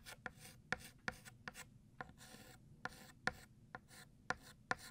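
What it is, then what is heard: Chalk writing on a chalkboard. White chalk is drawn across a flat black chalkboard, thickening the letters of the word "New" with repeated strokes. Soft, bright rasping scrapes alternate with sharp, ringing chalk ticks as each stroke starts, all at a quiet level.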